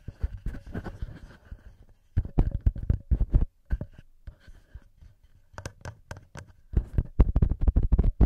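Fingertips and nails scratch and tap the heads of the small knurled metal XY microphone capsules on a TASCAM recorder. Dense clusters of close, thumpy scratching and sharp ticks come in bursts separated by short, quiet pauses. The sound is mostly heavy and low, with faint bright edges on the sharper taps.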